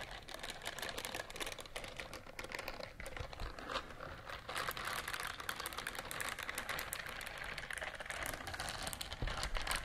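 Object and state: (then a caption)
Silicone scrubber glove. A pink silicone scrubber glove is held across the microphones while long nails scratch its bristles. A dense, continuous stream of fast, crackly scratching and ticking fills the clip, bright and close, with a steady level that swells slightly in the second half.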